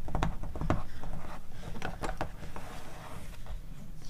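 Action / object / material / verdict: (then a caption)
tap / glossy paper magazine pages / glossy paper / none. Long nails tap and rub the glossy paper pages of an open magazine catalog, and a page is flipped. Several quick, irregular taps with short, sharp clicks sit over a soft, low rustle.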